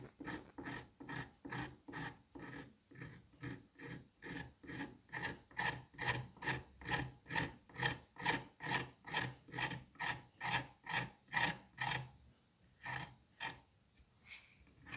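A scalpel blade scrapes and slices across the surface of a smooth, solid dome of green kinetic sand resting on a plate. About 29 rhythmic, gritty rasping strokes come at a steady pace of a little over two per second, each with a bright, crisp edge. The strokes grow louder mid-clip, then turn softer and sparser over the last few seconds.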